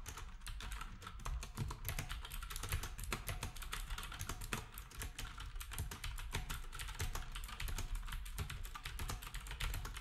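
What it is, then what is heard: Round-key plastic keyboard being typed on. Fingertips of both hands type on a black, typewriter-style retro keyboard with round plastic keycaps. A steady, rapid stream of short, crisp plastic clacks with bright clicky tops over a low thud carries on without pause throughout.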